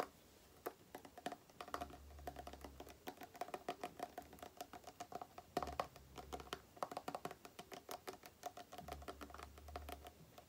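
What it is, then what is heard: Plastic cream tube. Long nails tap rapidly on a small, printed green-and-white plastic Aloe cream tube with a green cap. The result is a quiet, steady stream of short, dry clicks with a faint hollow ring around 715 Hz, over occasional soft low rumbles.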